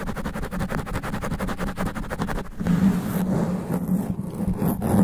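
Extra long black nails scratch fast and aggressively across a sponge foam microphone cover. The first half is a rapid, even train of scritching strokes, then it turns into a denser, louder rubbing scrape with a steady low buzzing tone underneath.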